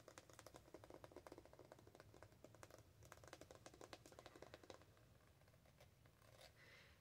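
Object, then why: Small soft plastic cosmetic squeeze tube. A small, soft pink-and-white Revolution Strawberry Whip face primer squeeze tube, capped and apparently full, is held in one hand and tapped and scratched with long decorated acrylic nails. Rapid, crisp plastic clicks with a low hollow body fill the first five seconds, then give way to quieter scratching and rubbing.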